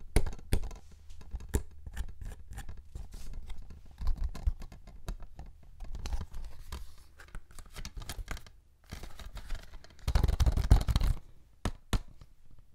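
A small, flat, yellow cellulose sponge, porous and soft, is held in both hands close to the mic and squeezed and rubbed with the fingertips. It makes quick, irregular crackling and squishing clicks over a soft, low, thumpy rumble. A denser, louder burst of rubbing comes near the end before it trails off into a few scattered crackles.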